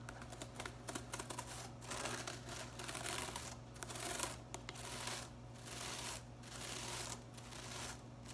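A long fingernail scratches and flicks across the blue plastic bristle tips of a broom with a white plastic head. The result is a series of soft, dry, crackling scratches and fine ticking flicks, rising and falling in bursts over a faint, steady low hum.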